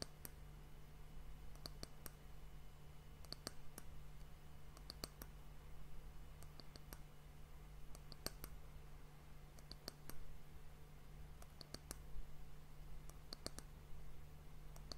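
Long fingernails tap the flat top of a solid, polished brown wooden disc end cap on a sand timer. The result is a quiet series of short, sharp, bright clicks in small clusters that die away almost instantly, heard over a steady low hum.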